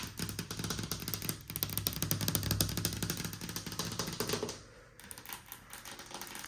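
Long pink nails and fingertips tap and scratch along the raised panel of a large, solid, white glossy painted wooden panel door. Quick, clattery taps and scrapes with a low, hollow thud run in a rapid, uneven rhythm, then grow softer and sparser for the last couple of seconds.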